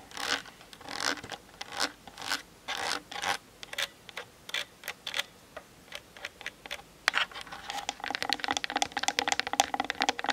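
Long nails tap and scratch the plastic body of a Canon DSLR camera. The first seven seconds bring short, dry, bright scratching swipes with gaps between them, then a quick, dense run of crisp clicking taps. There is no low rumble and almost no ring after each hit.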